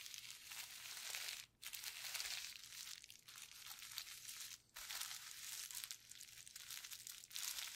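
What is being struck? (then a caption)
Plastic bubble wrap sheet. Gloved fingertips press and scratch across a painted, clear plastic bubble wrap sheet with hollow air bubbles. The result is a steady, bright, dry crinkling and scratching texture with almost no low end. Two brief pauses break it, around 1.5 and 4.7 seconds.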